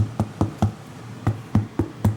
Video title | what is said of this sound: Gordon Ramsay - 3 Christmas Dishes with a Twist | if it's ripe it would bang on there